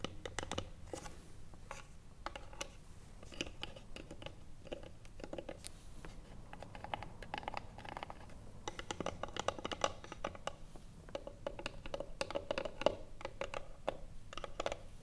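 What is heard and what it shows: Long nails tap the lid and front of a small hollow wooden box lying flat. Quick, dry clicks and scratchy taps come in dense, uneven runs throughout, each with a short hollow ring near 590 Hz.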